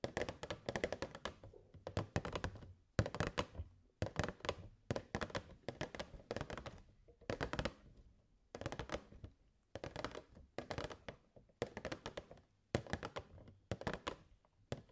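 Long grey nails tap rapidly on the walls of a hollow clear plastic box with a purple fairy light string inside. The taps come in quick bursts separated by short pauses, each a dull, low, hollow thunk with a bright click on top that dies away almost at once.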